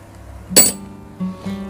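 A genuine silver half-denomination Queen Wilhelmina coin from the Dutch East Indies is struck once, producing a single bright, high-pitched metallic clink with a short ring over quiet background music. The clear, loud ring marks it as real silver, unlike a nickel imitation, and a weight of 25 g is suggested as a further check.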